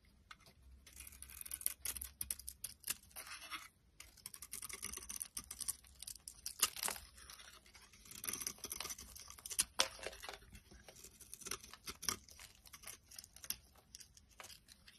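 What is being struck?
Bar of soap shaved with a blade.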